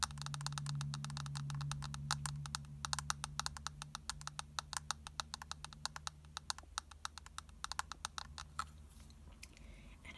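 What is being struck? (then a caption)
Plastic eyeshadow compact. Long nails rapidly tap and scratch the rim and pressed powder surface of a round, palm-sized plastic eyeshadow compact with a green glittery rim. The result is a quick, irregular run of sharp, dry clicks and light scratches over a steady low hum. The taps grow slightly sparser toward the end.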